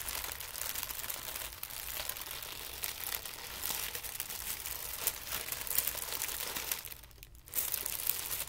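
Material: Paper.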